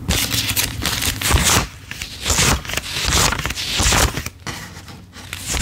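A stack of US $5 paper bills is held in both hands while fingertips quickly thumb and flick single bills off the stack onto a table. Rapid, bright papery crinkles and scraping flicks come in overlapping bursts that swell and fade, with brief quieter gaps between runs of counting.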